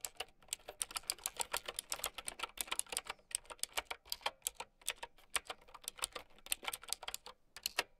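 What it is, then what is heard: Plastic mechanical keyboard. Continuous typing with long nails on a plastic mechanical keyboard with round keycaps. A quick, uneven stream of sharp, bright clicks, each dying away almost at once, with very little low end.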